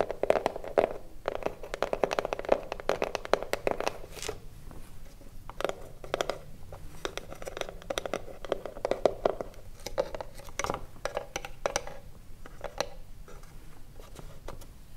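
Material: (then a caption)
Wood. Long blue nails scratch and tap the front and top edge of a small hollow wooden cigarillo box. The result is a steady, dense run of quick, dry taps and scratchy rasps with a hollow midrange tone around 600 Hz and almost no ring after each hit.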